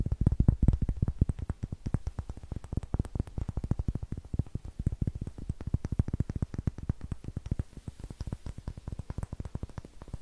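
A palm-sized, solid, light-colored wooden cube with a rough greenish face is held in both hands and tapped and scratched with long nails. The result is a rapid, continuous stream of dozens of short, dull, low knocks that stop dead with no ring. The stream is loudest at the start, with faint scratchy texture between the taps.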